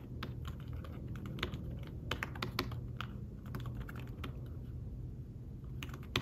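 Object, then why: Fabric-covered tablet keyboard. Fingertips tap the shallow keys of a thin, flat, fabric-covered tablet keyboard case in rapid typing. The keystrokes are soft, muted clicks with brief bright edges and almost no ring, over a steady low hum.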